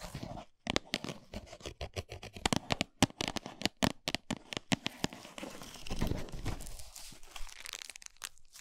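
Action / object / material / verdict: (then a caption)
tap / flat cardboard chocolate bar box / cardboard / none. Long nails tap fast and scratch across a flat, full Lindt cardboard chocolate box resting on a towel. Quick, dry clicks and knocks come in rapid bursts with crinkly, papery scratching between them. Past the midpoint it settles into a steadier, bright scratching hiss before a few final taps.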